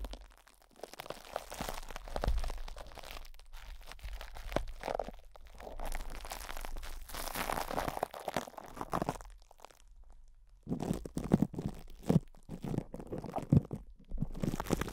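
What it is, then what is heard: Cling wrap scratched over a microphone grille. Fingertips scratch and rub plastic cling wrap stretched over a hollow metal microphone grille, working the crinkly film from both sides. Close, dense crunching and crinkling fills the clip with deep, muffled low-end thumps. The sound drops to a brief near-quiet lull around ten seconds before sharper crackles return.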